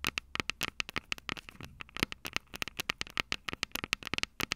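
Long purple nails tap and scratch the two silver metal mic capsules on the plastic body of a Tascam DR-05 handheld recorder. Dozens of sharp, dry, bright clicks sound with almost no ring, mixed with faint scratchy rustles between them. The taps are uneven in rhythm, closely and intensely miked.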